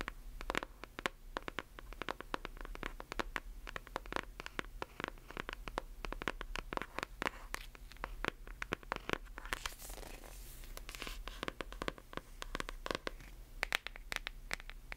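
Long nails tap and scratch across the back and front covers of a hardcover book. Rapid, dry, sharp clicks come in quick irregular bursts, mixed with brief scraping strokes over a steady low hum.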